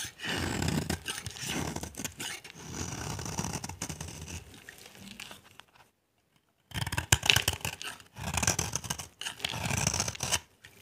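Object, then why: Bar soap. A utility knife shaves the face of a solid, dry pale-yellow bar of soap held in the hand, peeling off crumbly curls. Dense, gritty scraping strokes with a bright, hissy edge come in bursts, pause briefly in silence partway through, then resume.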